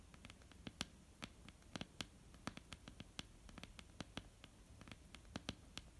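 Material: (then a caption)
Wood. Long almond-shaped painted nails tap and lightly scratch a flat, solid wooden tabletop. A quick, irregular run of crisp, dry clicks with bright tips and a soft, low body dies away almost instantly. Faint scratching and rustle fill the gaps at a low, steady level.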